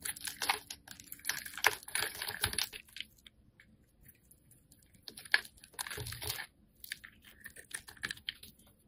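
A metal blade carves chunks and cubes off a solid green-yellow striped soap bar held in the hand. Bursts of dry, crisp scraping and crunching with bright, high hiss come in uneven clusters separated by quiet gaps, with a few sharp clicks as pieces break away.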